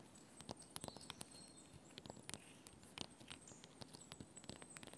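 Fingernails rapidly tap and scratch the white bark of a solid birch log. The result is a quiet, uneven patter of short, dry clicks and brief bright scrapes that die away instantly, over a faint steady high hiss.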